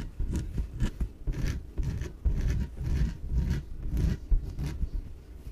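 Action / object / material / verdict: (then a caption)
scrape / inflatable PVC exercise ball / PVC / none. Long nails scratch the sides of a small, yellow, hollow, air-filled inflatable PVC exercise ball. The result is a run of dry, rasping scrapes with a deep, low thud underneath and short bright streaks on top. The strokes come in quick bursts that stop abruptly.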